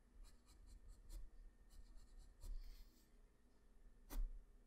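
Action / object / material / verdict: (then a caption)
scrape / graphite pencil on paper sheet / paper / none. A graphite pencil, held close up, makes short scratching and shading strokes on a sheet of flat white drawing paper. Soft, dry, high-pitched scratches come in irregular bursts, with a few brighter, sharper strokes standing out against a quiet, low background hum.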